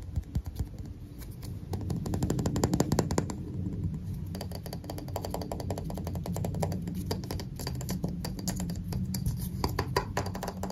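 A handheld magnifying glass, with a round glass lens set in a black plastic rim and handle, is tapped rapidly on the lens and rim with fingertips and nails. The result is a dense, fast stream of short, dry clicks and taps over a low, muffled rumble. Occasional sharper, brighter ticks stand out.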